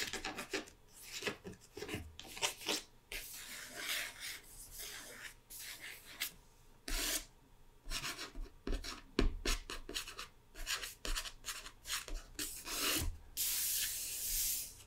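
Long red-painted nails and fingertips scratch and rub over the matte printed paper cover of a closed hardcover book lying flat. The result is a series of dry, bright rasping strokes in short bursts, with softer rubbing between them and a few louder, sharper scratches.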